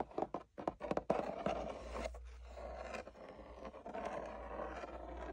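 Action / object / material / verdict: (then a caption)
scrape / leather sword sheath / leather / none. Fingertips and nails tap and scratch along the body and upper throat of a long, hollow, wall-mounted black tooled leather sword sheath with gold stitched lines, while a red sheath hanging nearby is left untouched. A few quick, dull taps open the clip, then give way to a steady, soft, rasping scratch with a midrange tone.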